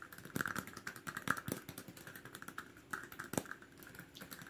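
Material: Plastic.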